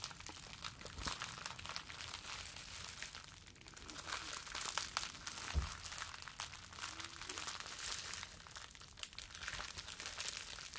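A small bundle of clear plastic bubble wrap is held in both hands, squeezed and rubbed with the fingertips. It makes a steady stream of dense, bright crinkling and crackling with many tiny snaps, plus a brief low thump midway, all at a soft level.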